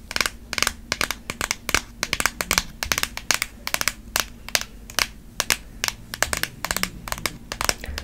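Long nails tap, scratch and squeeze a long, hollow white cardboard Apple Pencil box held in the hand. The result is a quick, irregular run of sharp, bright clicks and crinkly scrapes with almost no ring, set over a faint low hum.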